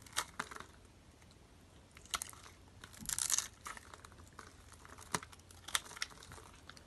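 A metal utility knife blade scrapes along a solid purple bar of dry soap held in the hand and scored with a grid, shaving off small soap cubes. The sound is a run of sharp, bright crunches and crinkly scrapes, with a denser scraping burst near the middle, over a quiet background.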